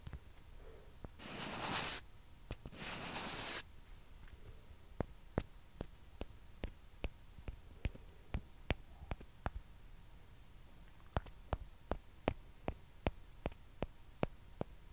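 Two small hollow white plastic ping pong balls, held in both hands, are rubbed and scratched against each other with long dark-painted nails. This makes two short bursts of hissy scraping, followed by a steady run of sharp, dry plastic taps that stop instantly, heard over a quiet background.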